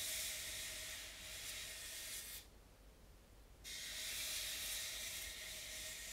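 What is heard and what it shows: Both hands wipe a white polystyrene foam mannequin head with a baby wipe, fingertips and palms stroking over the cheeks, sides and forehead. A steady, bright, hissing rub runs throughout, drops away for about a second in the middle, then resumes at the same level until the end.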